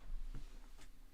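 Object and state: Nothing is struck.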